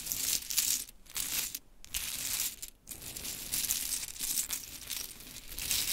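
Long chrome nails scratch and tap a heap of small pink wooden clothespins resting on a sparkly cloth. The result is a dense, bright, crackly rattling of short clicks and scrapes, with brief quieter pauses near the middle of the clip.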